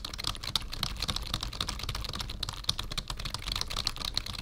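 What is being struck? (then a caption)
Plastic membrane computer keyboard. Fingertips of both hands type on a black full-size plastic membrane keyboard with a numpad, resting on a wooden desk. The result is a steady stream of quick, dry clicky taps with a bright, crisp edge around 3.6 kHz and a soft low thump beneath.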